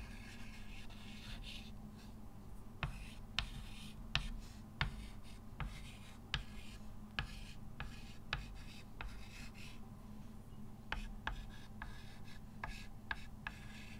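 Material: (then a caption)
Chalk. Fingertips hold a white chalk stick and write text on a framed, dark, solid and flat chalkboard. Scratchy, rubbing strokes are broken up by repeated sharp taps as the chalk strikes the surface, over a steady low hum.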